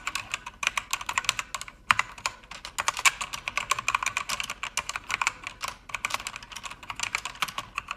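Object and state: Mechanical keyboard being typed on.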